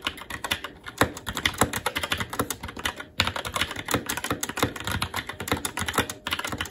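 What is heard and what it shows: Fingertips of both hands type continuously and quickly on a SteelSeries Apex 7 TKL mechanical keyboard with plastic keycaps on a metal top plate and Red linear switches. The result is a dense stream of short, sharp, bright clacks with a little low thump, with a brief lull just after the 3-second mark before the typing picks up again.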